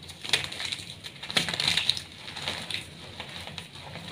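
A small solid block of brown glittery reformed gym chalk (magnesium carbonate) is crushed in bare hands with painted nails, crumbling into dry powder and chunks. These are then squeezed and rubbed between the fingers over a pile of chalk dust. Sharp, bright, dry crunches and crackles peak in the first two seconds, then settle into a softer, steady gritty rubbing.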